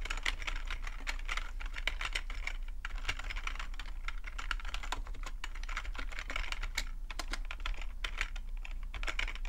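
Fingertips of both hands type continuously on a black full-size plastic computer keyboard. Rapid, short, bright clicks follow one another in an unbroken stream over a steady low hum.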